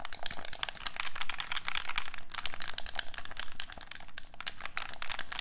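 A black, hollow plastic handheld game controller is held in both hands while fingertips and thumbs press and click its buttons and sticks. A dense, steady stream of quick, dry plastic clicks and taps fills the clip, with a bright, crinkly edge and no ringing between them.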